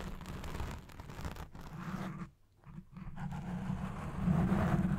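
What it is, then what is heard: Foam microphone windscreen scratched. Fingertips and nails scratch the top and sides of a black foam windscreen on a Blue Yeti Pro microphone, producing a dense, muffled, low-heavy rustling rumble. The scratching briefly drops to near silence about halfway through, then returns and grows louder toward the end.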